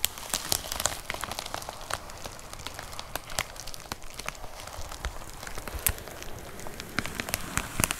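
Long nails tap rapidly on a white plastic poly mailer package with a box inside. A dense, continuous patter of short, crisp plastic ticks sounds almost like rain on a surface, with sharper bright clicks standing out now and then over a low, steady rustle.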